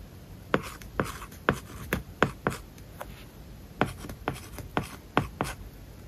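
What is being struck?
Stylus on tablet screen with matte plastic film.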